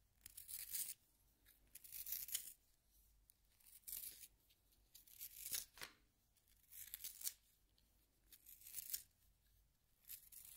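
A solid yellow wooden pencil is turned by fingertips in a small pink plastic hand sharpener as the blade shaves the wood. The sound is dry, bright, rasping shaving in short bursts of about a second each, repeating irregularly with quiet gaps between.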